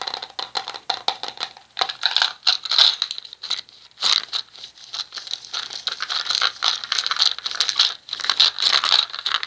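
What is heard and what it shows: A small round red plastic cosmetic jar with a lid is turned in the hands while fingertips and nails tap and scratch its surface. Quick, dense clicks and scratchy rattling come in bursts with brief pauses between them. The sound is bright and thin, with almost no low end.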